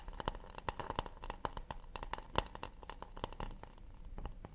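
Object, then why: Acacia wood plate. Fingers tap and scratch an acacia wood plate in a fast, delicate rhythm. The result is a quiet, rapid run of short, dry knocks with a hollow midrange tone and bright clicky edges that die away almost instantly, over a soft low rumble.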